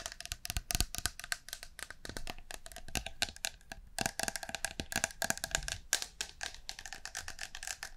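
A blue and green metal aerosol can of shaving foam with a white cap, at least partly full, is held in both hands and tapped and scratched with long painted nails along its body and cap. Rapid, bright clicking taps and scratchy strokes follow one another closely, each dying away almost at once, with a faint hollow metallic tone.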